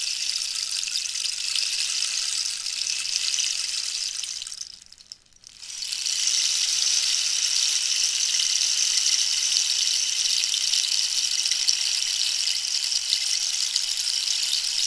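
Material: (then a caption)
Cactus wood. Long nails scratch the textured surface of a hollow cactus-wood rainstick held diagonally, making a dense, bright, hissing rasp with no low end. The scratching fades to near silence around five seconds in, then returns and continues steadily to the end.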